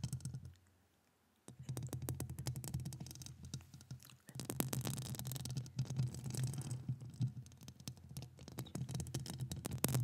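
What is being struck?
Metal mesh microphone grille.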